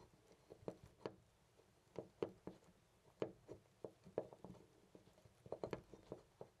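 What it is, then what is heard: Loose brass door knob. Fingers jiggle a loose brass-colored metal knob on a white interior door, rattling it. About fifteen quiet, short clicks and clacks come in an irregular series, with a dull midrange tone around 375 Hz and almost no ring after each hit.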